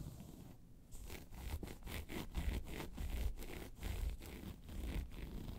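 Long pointed nails scratch across a hollow, round tan crocodile-embossed faux leather handbag in quick, uneven strokes. Each stroke gives a dry, rasping scrape over a low, hollow thud from the bag's body. The sound dies away at once between strokes, leaving a steady, close-up texture of scratching.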